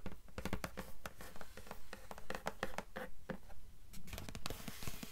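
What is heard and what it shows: Long nails scratch the blue paper endpaper over the inside board of an open hardcover book. The result is a quiet, dry, rhythmic scratching of short, fairly regular strokes with a soft papery rasp and a low, dull body.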